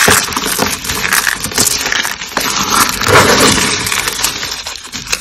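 A handful of white and pink dry starch soap flakes, solid and brittle, is crushed and rubbed between bare fingers. The result is a dense, continuous crunching and crackling, bright and sharp in the highs, with very little low end.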